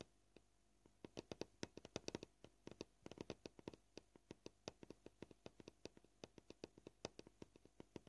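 Fingernail tips tap a solid white plastic cutting board at an uneven, shifting pace, around forty short, dry clicks in bursts and pauses. Each tap is a crisp, quiet tick with a mid-range body and a bright edge, dying away almost instantly.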